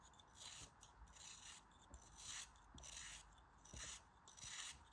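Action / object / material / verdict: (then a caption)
scrape / block of kinetic sand / kinetic sand / none. A snap-off utility knife blade slices the corners off the remaining chunk of a solid pink kinetic sand cone held in hand, making crisp, crumbly cuts. Repeated bright, gritty scraping bursts rise and fall at a steady pace, each starting with a soft low tick as the blade bites in.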